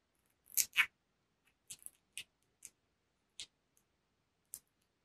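Fingertips and nails tap a flat, rectangular, black textured cardboard makeup palette case, held closed close to the listener. A few irregularly spaced, dry, bright clicks, with the first two the loudest and the rest softer. Each tap dies away almost instantly.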